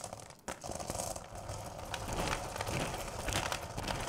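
Hands with long purple nails dig into and rake through a full bowl of small, solid candy corn pieces. The candy gives off a dense, continuous crunchy rattling and clattering with bright, crinkly scraping that swells and shifts as the pieces are stirred, after a brief quiet dip near the start.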